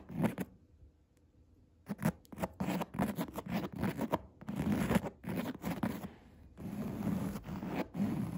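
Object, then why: Padded chair seat with coarse woven fabric. Nail tips scratch the coarse woven upholstery of a padded chair seat, making a string of short, rough, zipper-like scraping bursts with a low fabric rustle underneath. After a near-silent pause early on, the scratches come in quick strokes, then stretch into longer, steadier scrapes toward the end.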